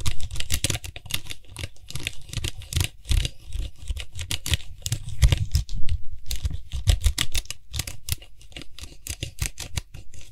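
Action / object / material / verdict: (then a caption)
tap / plastic cap of an aerosol spray can / plastic / none. Fingertips and nails rapidly tap and scratch the top of the white, hollow plastic cap on a Lysol aerosol spray can. The result is a dense, fast patter of short, dry clicks with a low hollow thump beneath bright, crackly scratching, each tap dying away almost at once.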